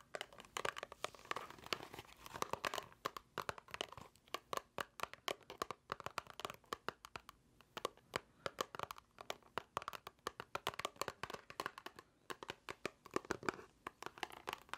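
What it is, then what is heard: Cardboard box. A small, hollow white paperboard box is held in both hands and tapped and scratched with long nails. The result is a long, steady run of quiet, dry, hollow taps with papery scratching and crinkling in between, centered in the midrange with some bright edges. Each tap dies away almost instantly.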